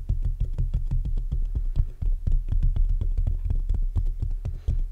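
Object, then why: Metal mesh grille of a condenser microphone. Fingertips of both hands rapidly tap and scratch the black metal mesh grille of a large hollow condenser microphone. The result is a fast, uneven stream of deep, boomy thumps centered around 59 Hz, with short bright scratchy ticks on top. Each hit dies away almost instantly.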